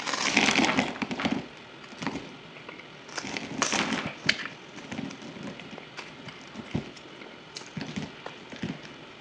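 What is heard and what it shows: A utility knife shaves and cuts crumbly chunks from a solid white bar of soap held in the hand, sped up to double speed. Dense, bright crackling and scraping is loudest in the first second and a half, then continues more quietly with sharp, irregular cracks scattered throughout.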